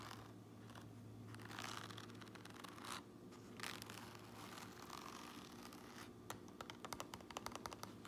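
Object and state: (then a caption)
Fabric cap lining scratched and tapped. Long nails scratch and tap the gray front lining and seam tape inside an upturned white and red trucker cap with white mesh. Soft, papery scratching swells and fades over a faint steady low hum. In the last two seconds it gives way to a quick run of sharp, dry taps.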